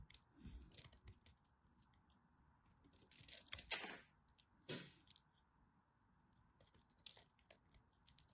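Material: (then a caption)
Soap. A craft knife cuts and scrapes at the edge of a thin remaining slab of dry, purple and white striped bar soap. Soft, bright, crisp scratches and clicks sound throughout, with longer, louder scraping bursts just after the middle and a sharp rasp shortly after. The sound stays quiet and dry, with very little ring.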